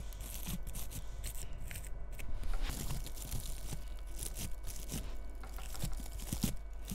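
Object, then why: Bristle bottle-brush Christmas tree. A long red fingernail scratches the bristly surface of a small frosted bottle-brush Christmas tree decorated with bead ornaments. The result is a continuous, dry, crackly rustle made of many tiny scratchy bursts that rise and fall in intensity. Faint, thin tones hum steadily underneath.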